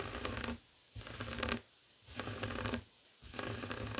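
Fingertips and short nails scratch a flat, heart-shaped woven tapestry fabric coaster resting on a wooden table. Four bursts of rough, papery scratching with a bright hiss and a soft low rumble are separated by brief silent pauses. The texture is dry and grainy, with no ringing after each stroke.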